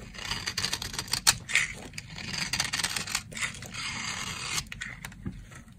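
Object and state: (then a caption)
Dry soap bar being shaved. The corner of a solid, dry brown soap bar is shaved with a box-cutter blade into fine flakes. Bright, crisp scraping and crackling strokes come in quick succession with short, dry bursts and almost no ring. There is little low-end weight.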